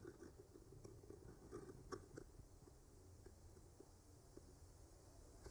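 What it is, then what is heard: Painted wooden panel scraped with a skewer. A thin bamboo skewer with a clipped-on mic, held by the fingertips, slowly traces and scratches over the paint of a flat, solid wooden board painted with branches. The result is quiet, soft scratchy friction with small dry ticks and crackles that stand out briefly near the two-second mark, over a steady low rumble.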